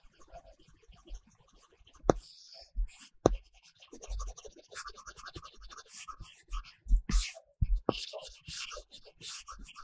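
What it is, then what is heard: Stylus drawing on matte-film tablet screen. A pink-cased Apple Pencil tip is stroked across a large iPad Pro glass screen fitted with a matte paper-texture film while colouring. The flat, solid surface gives dry scratching and rubbing strokes with light taps. A few sharper ticks stand out among the busy, high-reaching scrapes.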